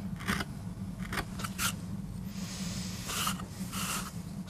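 A steel gouge with a wooden handle cuts and scrapes into a small flat solid MDF board inked with a rose, lying on a rubber mat and held by fingertips. Short bright scraping strokes sound over a steady low hum.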